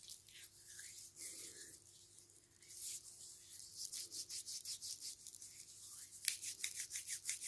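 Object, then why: Softcover book with thick glossy paper pages. Fingertips rub and press the open pages of a thick softcover book with thick glossy paper, lying open on a stack of books. Quiet, bright, hissy brushing strokes repeat in a loose rhythm, with soft squeaky sweeps and a faint steady low hum underneath. The rubbing grows denser and slightly louder toward the end.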